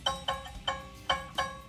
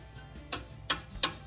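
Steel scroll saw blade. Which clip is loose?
The second.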